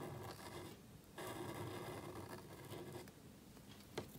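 A calligraphy pen nib scratches across a small, thin black cardstock card lying flat on a table as it writes. Soft, dry scratching strokes with a faint steady hum underneath rise and fall in uneven bursts. They end with a brief sharp tick near the close.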